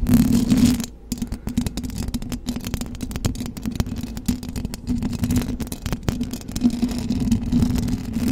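Long blue acrylic nails on both hands scratch up and down the hollow metal mesh grille of a silver condenser microphone. The result is a dense, close rasping with a steady low, humming tone and many sharp ticks and clicks. There is a brief dip in level around the first second before the scratching continues.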